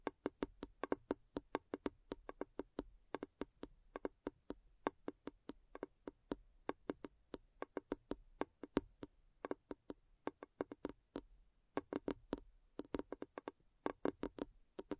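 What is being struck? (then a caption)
Large glass bowl. Long nails tap around the base rim of a large, clear, hollow, empty glass bowl turned upside down. Dozens of quick, dry, quiet taps come in uneven bursts and pauses, each with a woody click around 285 Hz and a faint bright tick that dies away almost at once.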